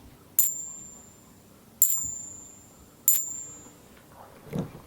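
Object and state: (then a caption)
Clad half dollar, not silver. Two clad half dollars held in the fingers are tapped together three times, each tap giving a short, bright ting that fades quickly. Their sound is duller than the high, pleasant ring of silver coins, marking them as clad rather than silver.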